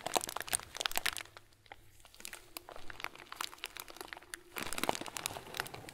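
A hand-sized clear plastic bag full of small white plastic pearls is crinkled and pressed with fingertips. Dense bright crackles and crunchy clicks fill the opening second, thin out to softer, sparser rustling in the middle, then swell into loud crinkling again near the end.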